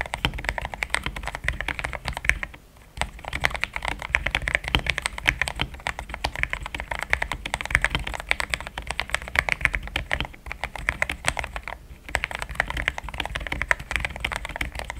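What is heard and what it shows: A compact pink-and-cream plastic mechanical keyboard with thick XDA-profile keycaps, Gateron Yellow switches and a polycarbonate plate sits on a desk mat while the fingertips of both hands type steadily across the keys. The result is a dense, continuous patter of short, crisp keystrokes with a bright, creamy clack, easing briefly in a few short pauses.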